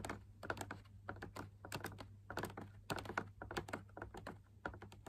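Fingertips and short nails tap rapidly on the inner wall of a large, hollow drum lamp shade made of perforated fabric laminated on a stiff backing with punched dot patterns and a white wire frame. The result is a quick, irregular run of short, dry clicks and soft thunks that die away almost instantly, over a steady low hum.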